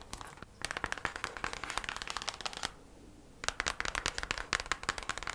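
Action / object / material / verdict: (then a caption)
tap / thin kraft cardboard packaging sleeve / cardboard / none. Long matte nails tap fast on a thin kraft cardboard sleeve, folded open, from beeswax wrap packaging. About 28 dry, crisp, bright taps come in quick runs, each dying almost at once, with a short pause early on and a longer gap near the middle.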